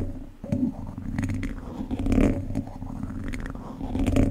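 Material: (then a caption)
Metal mesh. A single wooden chopstick scratches across the top of a hollow, domed wire-mesh microphone grille, producing a low, rumbling, scratchy friction sound. The texture rises and falls in soft swells, with a steady boomy tone near 200 Hz and almost no high end.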